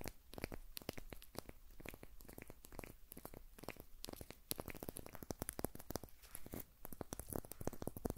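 A short section of solid birch log with white papery bark is held in both hands close to the recorder and scratched and tapped with fingernails. The result is a dense stream of crisp, dry clicks and crackly tearing scrapes, with some handling noise.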